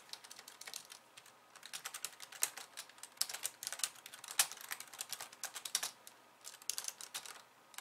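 Fast typing with long painted nails of both hands on a pink low-profile plastic computer keyboard with white keys, resting on a wooden desk. The result is a dense, uneven stream of sharp, bright plastic clicks and taps that stop instantly with no ring, with almost no low end, and with a few brief pauses between bursts.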